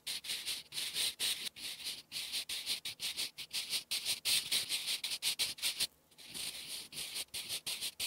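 A sharpened wooden graphite pencil held in the fingertips writes cursive English on a flat sheet of lined writing paper resting on a solid surface. It makes a continuous bright, dry scratching and rubbing, broken into short stroke-by-stroke bursts with almost no low end. There is a brief pause near the six-second mark before the writing resumes.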